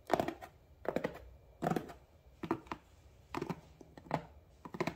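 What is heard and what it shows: Fingertips and nails tap and scratch the top surface of a medium cardboard shipping box with labels, resting on a counter. Seven quick bursts of dry, hollow taps and scratchy rustles come at an uneven pace, each dying away almost instantly with quiet gaps between.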